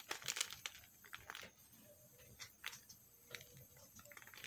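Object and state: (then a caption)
Bar of soap being scraped. A metal knife scrapes thin shavings off a solid pink bar of soap held in the hand. It makes quiet, bright, crisp scratching bursts in an uneven rhythm, with soft gaps between strokes.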